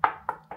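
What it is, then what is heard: Well-bonded wall tile. Three taps on a well-glued ceramic shower wall tile. Each gives a short, solid knock with a mid-pitched tone and very little ring, the opposite of a loose tile's hollow sound. The tile is well bonded.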